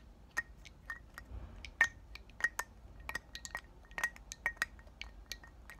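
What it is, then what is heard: Glass perfume bottle. Short black nails tap and clink on the glass body and cap of a round, palm-sized pink glass "Thank U Next" perfume bottle, partly filled with liquid, held and tilted in both hands. An irregular series of quick, bright glassy clicks each ring briefly around a clear tone near 1.8 kHz and fade almost at once, over a soft low background hush.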